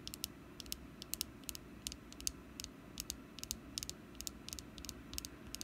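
A small solid orange wax jack-o'-lantern candle, picked up and held in the hand, is tapped and scratched with long nails on its face side. A quick, uneven series of short, bright clicks and ticks sounds over a quiet, steady low rumble. Each tap dies away almost instantly.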